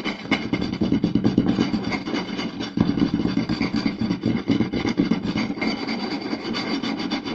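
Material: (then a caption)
Wood. Two hands quickly scratch and tap a round solid wooden plate with their fingertips and short nails. The result is a dense, continuous rasping clatter with a warm, woody low-mid body and scattered brighter clicks. The sound holds a steady level, with a brief dip just before the three-second mark.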